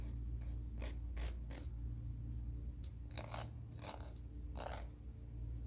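A fingernail is filed back and forth along a grey emery board nail file held horizontally. The result is a series of short, dry, raspy scraping strokes with bright hiss, over a steady low hum.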